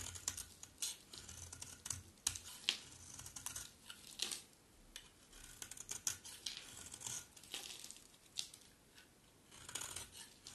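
A utility knife blade slices and scrapes crumbly flakes from the face of a solid white, dry bar of soap. The sound is a quiet run of crisp, bright scratching and crackling strokes, each dying away almost instantly, with brief pauses between bursts.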